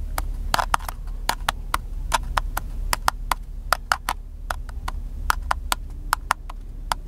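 A small black plastic handheld camcorder with a cable attached is held in one hand inside a parked car and tapped quickly with the fingertips of the other hand, making about 25 short, dry, hollow clicks from its hollow casing. Each tap is crisp with a slight mid-pitched knock and dies away almost instantly, over a steady low hum.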